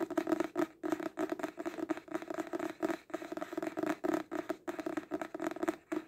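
Fingertips and nails tap fast on the card front cover of a paperback book, "Most Notorious Pirates," a solid paper block held upright in both hands. The result is a dense, rapid run of short, dry, papery taps with a hollow tone around 320 Hz and almost no ring. Brief pauses break up the flurries.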